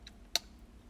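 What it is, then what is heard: Coin loose in plastic grading holder. A loose coin inside a vintage plastic graded holder (a "rattler" slab) is shaken and moves freely, giving two short, bright clicks: a faint one followed by a sharper, louder tick. The coin has spun slightly counterclockwise in the slab, confirming it is loose.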